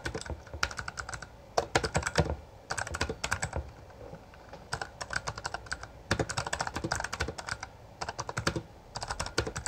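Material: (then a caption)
Plastic. Both hands type continuously with their fingertips on a Bloody B820R full-size black plastic mechanical gaming keyboard with backlit keycaps and a hollow housing. Rapid bursts of sharp, bright key clacks come in quick runs separated by brief pauses. Each strike is short, with a hollow, thumpy low end under the clicks.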